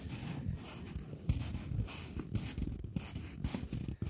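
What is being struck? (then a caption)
Folded polymer banknote. A polymer £20 banknote, a plastic note folded into a narrow strip, is tapped and scratched with long fingernails. Soft, dull taps with low thumpy weight mix with dry, crinkly scratching that comes in short bright bursts. The sound stays quiet and close throughout.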